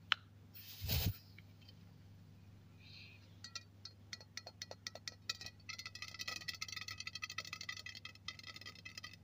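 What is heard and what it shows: Fingernails scratch and tap the body of a hollow, silver aluminium aerosol deodorant can lying on a cloth. After an opening click and a brief soft rustle, scattered sharp taps start, then build into fast, dense tapping and scratching with a bright metallic ring. A steady low hum runs underneath throughout.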